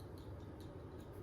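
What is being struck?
Nothing is struck.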